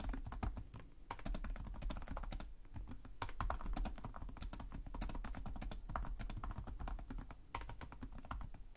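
Fingertips with short nails type continuously on the plastic chiclet keyboard of a black laptop resting on a desk. Rapid, dense key taps each give a short dull thud with a bright clicky tick on top. The taps die away almost instantly, and the overall sound stays soft and low.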